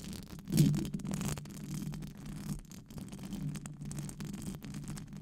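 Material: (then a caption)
Metal mesh. Long acrylic nails scratch a hollow, silver metal wire-mesh microphone grille with fast brushing strokes. The result is a continuous, muffled, low scraping rumble with little brightness, swelling loudest early on and then holding at a steady, textured level.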